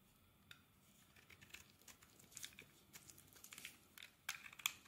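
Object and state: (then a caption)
Bar of soap being scraped. A blade scrapes a translucent white solid bar of soap into fibrous shavings. Quiet, crisp, high crackling scrapes come in irregular bursts with almost no low end, growing sharper and louder near the end.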